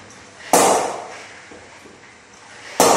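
A willow cricket bat is knocked in by striking a hanging ball with its face. Two sharp, woody impacts sound about two seconds apart, each with a bright attack and a short decay. Faint, softer taps are heard between them.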